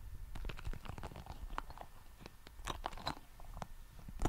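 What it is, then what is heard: Rubber spiky ball. A small, red, soft rubber spiky ball is squeezed and rubbed between fingertips right in front of the mic. Dense, irregular crackling and crunchy squishes sit over a low, muffled rumble, with quick, sharp clicks that flash bright. The level stays fairly steady throughout.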